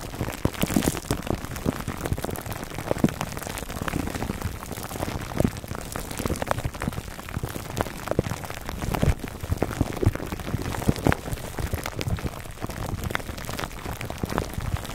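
Fingertips of both hands scratch clear cling film wrapped over a black foam microphone windscreen. The result is a steady, dense crinkling and crackling with many sharp little ticks over a muffled, bass-heavy rumble, like rain pattering on a surface, lasting the full fifteen seconds.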